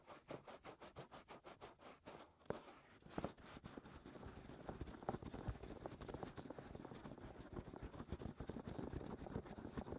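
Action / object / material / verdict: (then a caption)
scrape / silicone ear of a binaural microphone / silicone / none. Fingertips and short nails scratch and rub inside the white silicone ears of a 3Dio binaural microphone, working on both sides of the soft, hollow-ish ear shapes. The clip opens with a steady, rhythmic run of quick scratching strokes. It then turns into denser, continuous rubbing and scratching with occasional sharper scrapes, heavy in low and mid tones with almost no bright top.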